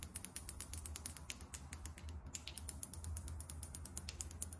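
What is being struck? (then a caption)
Small glass bottle with liquid. Long nails tap quickly on a small glass foundation bottle filled with beige liquid and topped with a champagne cap. A steady run of short, dry, bright clicks sounds with almost no ring, over a faint low hum.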